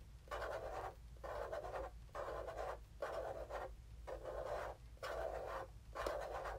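A small, hollow black plastic mini game console, held in hand, has its top surface scratched and rubbed with fingertips and nails. Dry, papery scratching strokes repeat about once a second, each centred on a raspy midrange tone around 600 Hz. Brief quiet gaps separate the strokes over a faint, steady low hum.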